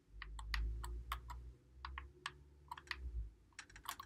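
Fingertips press and click the buttons and thumbsticks of a white Xbox One controller, its hollow plastic body held in both hands. A quick, irregular run of sharp, bright plastic clicks rings out over a steady low hum near 59 Hz.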